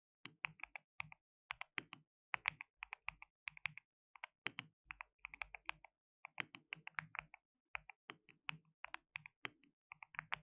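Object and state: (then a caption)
Plastic mechanical keyboard being typed on. Fingertips type rapidly on a white RGB-backlit compact mechanical keyboard with plastic keycaps and a hollow case. The result is a stream of quick, bright, clicky key taps in bursts with brief pauses, each tap dry and stopping almost instantly, with a faint hollow low thud beneath.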